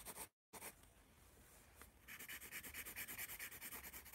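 A yellow wooden pencil drags across a white paper spiral notepad held in the hand while writing and drawing. Bright, dry scratching opens the clip and cuts to a brief silence, then soft, quiet strokes. It builds into a steady run of rapid, evenly repeating scratchy strokes, about two per second, that continues to the end.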